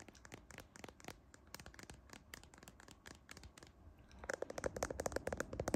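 Fingertips and nails scratch and tap the camera lens cluster and glass back of a handheld iPhone-style smartphone with a metal frame, seen in a mirror. A quiet, rapid, uneven stream of dry scratches and short clicks grows louder and more resonant in the last couple of seconds.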